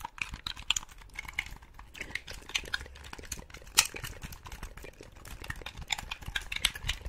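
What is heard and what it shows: A black, hollow, handheld-size plastic Xbox-style game controller is held in both hands and tapped and scratched on its shell and buttons with long pink acrylic nails. Rapid, bright clicking taps with very short decay come in a dense, uneven stream, mixed with soft scratchy rustling and a few sharper louder clicks.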